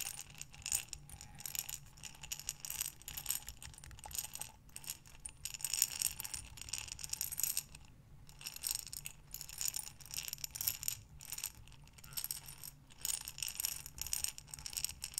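A glass mason jar with a metal lid, full of buttons, is tipped and turned by hands with long dark nails, sending the buttons sliding inside. Bright, dense clicking and rattling swells and fades in waves, with brief pauses, over a faint low hum.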